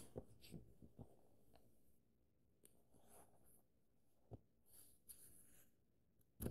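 An open paperback book's paper pages are flipped quickly, then fingertips trace and scratch over the text. Soft papery rustles and brushing strokes are heard, with a few sharper ticks from the page edges.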